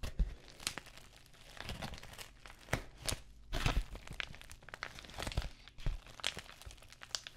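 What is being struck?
Plastic bubble mailer envelope.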